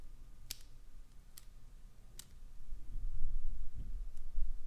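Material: Glycerin soap.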